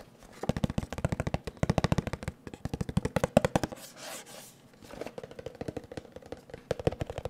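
A small, hollow, blue printed cardboard box is held in both hands and tapped rapidly with fingertips and nails, producing quick, dry, hollow knocks with a boxy low body and very short decay. The tapping runs in a fast burst for about three and a half seconds, pauses for a soft rushing brush around the four-second mark, then resumes in a second rapid burst to the end.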